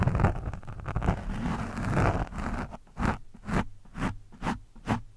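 A screwdriver tip is scratched and dragged at varying angles over an orange foam microphone windscreen. It makes dense, muffled, low rustling scrapes for the first few seconds, then five separate brushing strokes with brief, brighter hissy edges.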